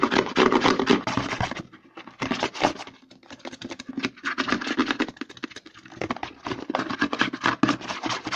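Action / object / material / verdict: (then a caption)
scrape / plastic lotion pump bottle / plastic / none. Fingertips and nails rapidly scratch and tap the back and side of a white plastic CeraVe lotion pump bottle held upside down, hollow and filled with lotion. Dense, fast scratchy rasps mix with short hollow plastic taps in uneven bursts, easing to softer, sparser scratching around the 2-3.5 second and 6 second marks before picking up again.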